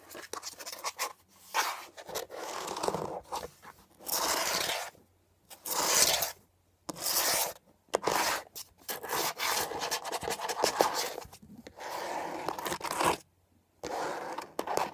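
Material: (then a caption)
Plastic. Fingernails and fingertips scratch and rub along the textured surface of a beige hollow plastic air freshener dispenser housing with leaf cutouts, lying on its side. Bursts of dry, bright scraping and rasping come in uneven runs separated by short silences.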